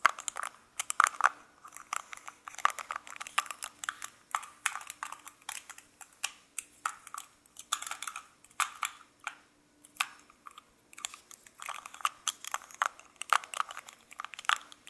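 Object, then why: Small metal lipstick case and cap. Fingertips repeatedly click the cap of a small gold-coloured metal lipstick case, with the lipstick inside, open and closed while it is held in both hands. The result is bursts of sharp, dry, bright clicks and taps that stop almost instantly, grouped in quick clusters with short pauses. A faint steady low hum runs underneath.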